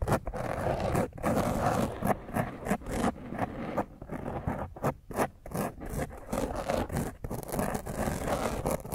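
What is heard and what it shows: Long fingernails scratch roughly across the top of a black foam microphone windscreen held in the other hand. The result is a dense, irregular run of close, muffled scraping strokes, heavy in the low and middle range with little brightness and only brief dips between strokes.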